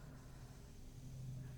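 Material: Nothing is struck.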